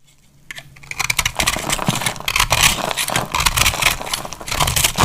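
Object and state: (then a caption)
Dry soap bar being cut. A solid pink and blue marbled bar of dry soap, held in the hand, is cut with a metal utility knife blade. A quiet start gives way to a dense run of bright, crisp scraping and crackling as the blade shaves through the soap, with short dry clicks and no ringing.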